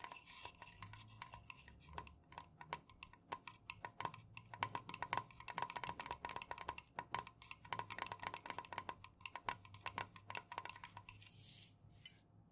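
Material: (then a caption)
Aluminum. Long nails fast-tap the sides of an unopened, full 473 ml Jumex Guava Nectar aluminum can, hollow and liquid-filled, first lying on its side on a fuzzy pink cloth and then standing upright. The result is a rapid, dense stream of sharp, bright clicks, each carrying a short metallic ring with a tone around 960 Hz. The taps stop near the end, leaving a brief bright hiss.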